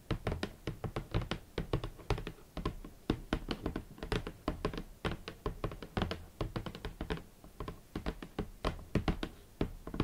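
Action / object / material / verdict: tap / cardboard shoe box / cardboard / none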